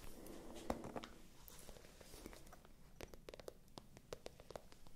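A small, light-pink, shiny patent (vinyl-coated) faux-leather handbag with a gold chain strap, hollow and probably empty, is held close to the microphones. Long acrylic fingernails tap and scratch its glossy surface. The result is quiet, quick, dry clicks and taps with a soft, hollow low-mid body over a faint scratchy rustle.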